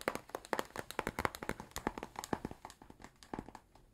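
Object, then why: Cardboard box. Fingernails tap quickly and irregularly on a flat, book-sized blue cardboard box with stickers, apparently hollow, held close to the mic. The taps are short, dry and clicky, with a hollow midrange knock and very little ring, and they grow softer toward the end.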